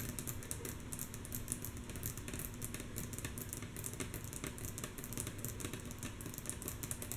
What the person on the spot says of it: Rhythmic Tapping on Wood Table With Long, Natural Nails - Mostly Soft Tapping